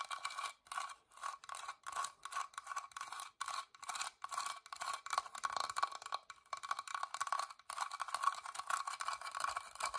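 Long dark nails tap and scratch the carved surface of a small, hollow, whitewashed wooden box with an openwork floral lid, held close. Quick, dry scratching strokes come in short bursts with brief gaps, a papery rasp centered in the midrange with bright hiss above and almost no low end.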